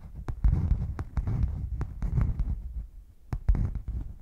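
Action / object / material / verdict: tap / padded faux leather zip case / faux leather / none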